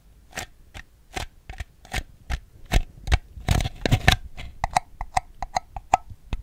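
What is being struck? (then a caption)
Small ribbed plastic bowl. A small, hollow, empty ribbed white plastic bowl is held on its side and tapped with fingernails on its outer wall. The result is a series of short, dry, clicky taps with a hollow plastic ring that dies away almost instantly. The taps come at an irregular pace, with a louder, denser burst in the middle and quicker, lighter taps toward the end.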